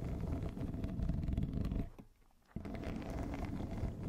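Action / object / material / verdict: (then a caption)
scrape / corrugated plastic tube over a fluffy microphone cover / plastic / none. Long nails of both hands scratch a yellow, hollow, ribbed corrugated plastic pop tube wrapped around a fluffy microphone cover, making a dense, low, rumbling scratch with a soft ridged rasp. The scratching fades to near silence for about half a second, then resumes abruptly at full level until the end.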